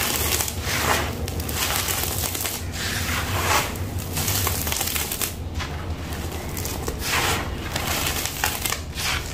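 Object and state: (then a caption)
Dry sand-cement powder crushed by hand. Bare fingertips and palms scoop, crush and crumble chunks in a large loose pile of dry, gritty, grey sand-cement mix with small pebble-like crumbs on the floor, then rub and rake through the powder. A steady, dense gritty crunching and scratchy rustling runs throughout, with bright grainy hiss over a low rumble, swelling and easing slightly as the handfuls are worked.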